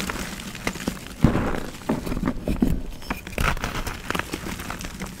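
Pressed white gym chalk (magnesium carbonate) donut rings, solid and crumbly, are squeezed and crumbled between bare fingertips and palms over a bed of loose chalk powder, with more rings at the edge. Dry, crunchy cracks and crumbling crackles sound in quick irregular bursts over a soft gritty rustle, mostly low in tone with short, dead snaps.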